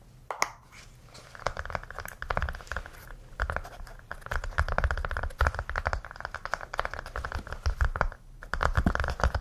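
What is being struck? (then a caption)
Small hollow hard plastic case. A small red-orange heart-shaped hollow case, apparently hard plastic, held in both hands and tapped and scratched with fingertips and nails. Dense, rapid clicky taps and scratchy rasps run almost continuously, each short and dry, with a low thump beneath and occasional brief pauses.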